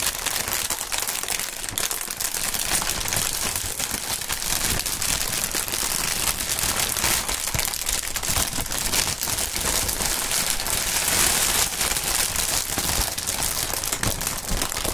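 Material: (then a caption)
Plastic. Gloved hands crumple and rub a clear plastic air cushion packaging sheet, printed in green with hollow air cells, held up in the air. A dense, continuous bright crinkling and crackling runs at a steady level throughout, with only a thin low end.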